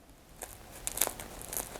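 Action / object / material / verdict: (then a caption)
scrape / toasted bread sandwich / bread / crisp. A still-warm sandwich made with frozen bread reheated in a BALMUDA ReBaker toaster is pressed by hand. It gives five short, bright crackling crunches. The crunch shows the toasted bread is crisp even though it was frozen.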